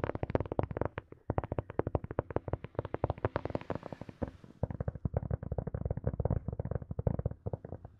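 Long nails tap rapidly and steadily on a small, hollow, rounded black hard-shell plastic earphone case held close to the mic, making dull, hollow clicks with a low, boomy body that die away almost instantly. Around the middle, the nails scratch across the shell, adding a soft, brighter hiss under the taps before the plain tapping resumes.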